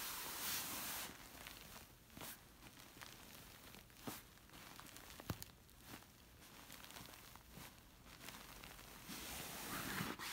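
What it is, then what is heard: Silk-covered pillow being scratched. Fingertips and long nails rub and scratch a large, soft, stuffed pillow with a smooth, shiny orange silk-like cover. Quiet, airy rustling and hissing fabric is broken by irregular sharp, scratchy flicks and brief swishes.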